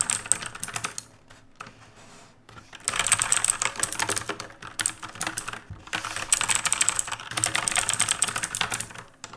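Fingertips type on a black mechanical keyboard with a metal top plate and plastic keycaps, resting on a wooden desk. A brief burst of bright, crisp key clicks fades to quiet near the two-second mark. Then fast, irregular typing resumes and continues to the end.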